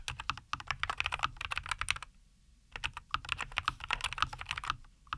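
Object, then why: Mechanical keyboard with plastic keycaps. Both hands type continuously with their fingertips on a NuPhy Air75 V2, a compact 75% mechanical keyboard with a white case, green and white plastic keycaps and Cowberry linear switches, resting on a wooden desk. Rapid, bright, short clacky keystrokes run in quick bursts, with a brief pause of near silence in the middle before the typing resumes.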